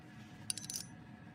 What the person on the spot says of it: it sounds like metal